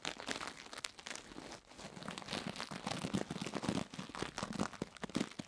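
The bristles of a purple plastic toothbrush repeatedly scratch and brush across the solid silicone ear of a binaural microphone. Close, dense, crinkly scratching strokes with a bright, crackly texture come in quick bursts, with a brief quiet dip partway through before the brushing picks up again.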